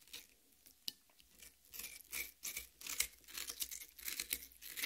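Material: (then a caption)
Watermelon flesh. Long red-painted nails on both hands dig into and scratch the red, juicy flesh of a large, solid cut watermelon half with green rind, resting on a metal plate. Irregular bursts of bright, wet tearing and crunching scrapes come and go, with short, dry scratches and no lingering ring.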